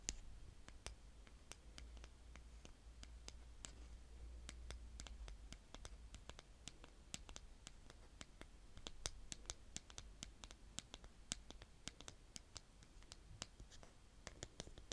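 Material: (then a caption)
Sand. A blue plastic toy spade, gripped by fingertips with long nails, scrapes and digs into a mound of brown kinetic sand. Many quiet, crisp clicks and short gritty scratches crackle in quick, irregular succession over a steady low hum.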